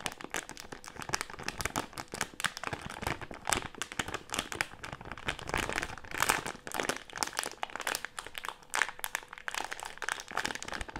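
A medium printed plastic-film Haribo gummy candy bag with gummies inside is crumpled and scrunched in both hands with the fingertips. It makes dense, continuous crinkling and crackling with bright, sharp snaps throughout, and the sound stays busy and textured with little low end.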